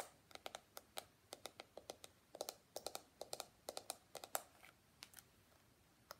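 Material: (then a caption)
Plastic. Fingertips and nails scratch and flick the flexible plastic bristles and tap the hollow shell of a small pink and white plastic detangling hairbrush. About 29 quiet, sharp clicks and ticks come in an uneven rhythm, each dying out almost at once. Each has a bright, crisp top over a midrange body, with faint scratchy rustle between them.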